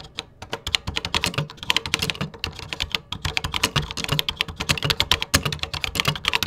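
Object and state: Plastic computer keyboard.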